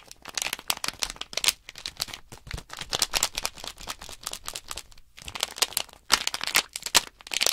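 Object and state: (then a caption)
Plastic bag of small blocks crinkled. Both hands flex and crinkle a small sealed plastic Nanoblock package bag holding loose plastic blocks, and the blocks rattle inside. The sound is a dense run of bright, crisp crackles and short rustling bursts with quick pauses, mostly high in tone with almost no low end.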